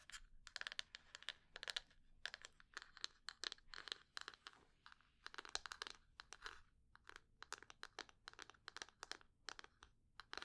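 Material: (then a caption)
Wood. Long fingernails tap and scratch the sides of a small, hollow, rectangular light-brown wooden box held in both hands. Quick, dry, bright clicks and scratchy bursts come in uneven clusters, with almost no low end and no ring after each tap.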